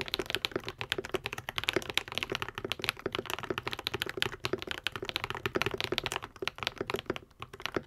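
A white and pink 75% Epomaker TH80 mechanical keyboard with plastic keycaps, lubed Akko V3 Cream Yellow switches and a foam-modded hollow case is typed on with the fingertips of both hands. Rapid, steady keystrokes give short, bright clacks with a soft low thock beneath and almost no ring after each press.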